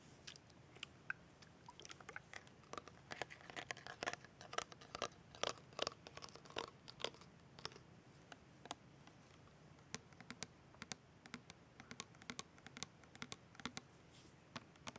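Long red nails tap rapidly on the label and red cap of a tall, liquid-filled 8 fl oz cylindrical plastic rosewater bottle held on a bed. The result is a steady stream of quiet, dry, crisp clicks with bright high edges and almost no ring, denser and louder in the first half and then sparser.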